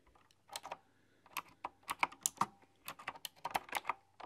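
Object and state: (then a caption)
Typewriter-style keyboard with round metal-rimmed keys. Fingertips with long, dark-polished nails tap and type on a full-size, typewriter-style computer keyboard with round, chrome-rimmed, hollow keycaps. Short, bright clicks land in irregular bursts with pauses between them, each dying away almost instantly with a light, hollow tick.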